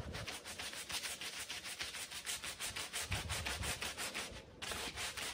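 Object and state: Pile rug being scrubbed.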